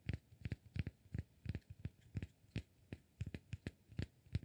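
Fingertips and nails tap and scratch a solid cork block, making about 18 short, dull knocks in an uneven rhythm. Each tap is a low thud with a brief bright click on top that dies away almost at once, leaving a faint scratchy hiss between hits.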